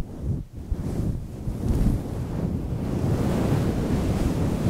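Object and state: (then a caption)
Fur microphone windscreen being scratched. Fingertips of both hands scratch and rub a fluffy grey faux-fur windscreen on a microphone. The result is a dense, muffled rumble that sits mostly in the low end, with almost no bright content. It dips briefly near the half-second mark, then swells and stays steady to the end.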